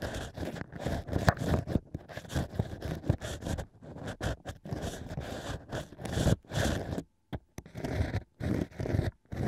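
A thin bamboo ear pick scrapes inside the drilled holes of several natural cork wine corks, stacked into a fake ear on a plush mic cover. Dry, scratchy, crunchy scraping comes in short bursts separated by brief silences, close and mostly low-bodied.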